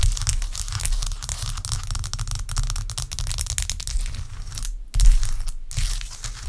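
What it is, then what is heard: Ice block. Long acrylic nail tips tap and scratch a large, clear, solid block of ice resting on a towel. A dense, continuous crackle of bright, crisp scratches and clicks rides over a heavy low rumble, with brief pauses in the crackle just before 5 seconds and again near 5.6 seconds. A louder burst of scratching follows the first pause.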